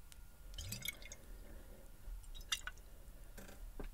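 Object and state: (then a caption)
Glass bottle partly filled with water, shaken. A tall clear glass bottle with a white swing-top cap, partly filled with water, is held in one hand and tilted and shaken so the water sloshes inside. Quiet, soft sloshes and dripping gurgles are heard, with a few brief bright glassy clicks, the sharpest around the middle of the clip.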